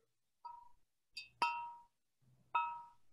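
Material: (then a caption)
Fired clay. An unglazed, twice-fired cream clay Möbius sculpture is struck four times and rings with a clear, bell-like tone near 945 Hz. The ring decays briefly, showing the piece is fired ceramic rather than plastic.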